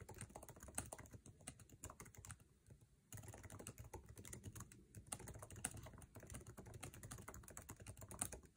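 Fingertips of both hands type fast on the backlit, low-profile scissor-switch keyboard with plastic keycaps of an aluminum MacBook Air resting on a table. A dense, steady stream of short, dull plastic taps with soft bright clicks continues throughout. Near the three-second mark, the typing briefly thins out before picking back up.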